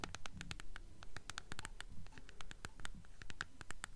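A mid-sized hardcover book, The Golden Compass, in a glossy paper dust jacket is held upright in both hands, closed, and tapped and scratched on its spine and cover with long acrylic nails. Quick, fairly steady clicky taps ring out bright and short over a soft, low scratching rustle.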